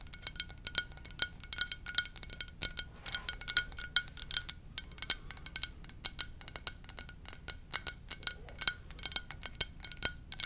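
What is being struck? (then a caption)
Ceramic mug. A hollow, empty blue and white ceramic mug shaped like a VW bus is held in both hands and tapped with long dark-painted nails. Quick, bright clicks and taps ring with a faint high tone and die away almost at once, coming in rapid, uneven bursts over a low steady hum.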